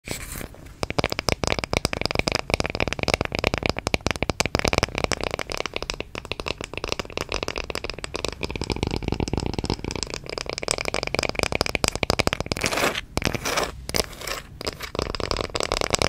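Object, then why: Small round wooden coaster. Long red-painted fingernails rapidly tap and lightly scratch a small, flat, round, solid light-wood coaster held in both hands close to the microphone. The result is a dense, continuous stream of sharp, dry clicks and crackly scratching with almost no ring.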